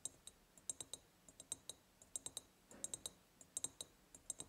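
Long purple-painted nails tap irregularly on the sides of a large, hollow, ribbed clear glass jar that is empty except for a small tealight holder at the bottom and is decorated with a gingham and lace ribbon and a hanging white ceramic heart. About 25 quick, bright, high clicks sound with almost no ring, and there is a brief soft brushing noise partway through.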